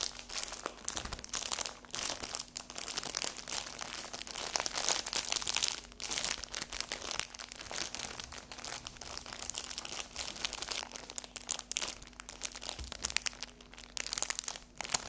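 A cellophane-wrapped paper napkin pack, held on its edge and then upright on a table, is scratched with long acrylic fingernails. The clip is a dense run of bright, crisp crinkling and scratching with a steady faint low hum underneath. It continues without a break for the full fifteen seconds.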